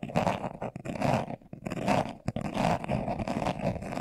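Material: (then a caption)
Leather. A brown leather-covered glasses case, hand-sized, hollow and closed, is held in both hands while its surface is scratched fast with short nails and fingertips. Quick bursts of dry, rasping scratches come in uneven waves, with a hollow mid-range body and a bit of brightness on top. The sound stays close and muffled, stopping briefly now and then before the scratching picks back up.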